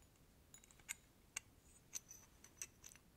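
A small antique metal candle snuffer, with a bell-shaped cup on a thin handle, is held up in one hand and tapped with the fingertips and nails of the other. A scattered series of quiet, irregular taps sounds as bright metallic ticks, each dying away almost instantly.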